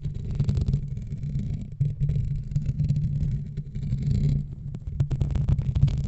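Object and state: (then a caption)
Foam microphone windscreen being scratched. Fingertips and nails of both hands scratch and rub a black foam windscreen on a microphone. The result is a steady, muffled, rumbling scrape made up almost entirely of low frequencies, with a low hum-like tone near 141 Hz. The sound dips briefly at about 1.8 and 4.5 seconds before resuming in denser bursts.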